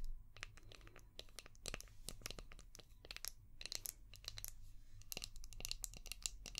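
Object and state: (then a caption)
Plastic shell-shaped brush. A palm-sized, translucent orange hard plastic brush shaped like a seashell, with a ridged back, is tapped and scratched with long painted nails. Dense, sharp, bright clicks and scraping crackles come in rapid clusters over a steady low hum, each tap dying away almost instantly.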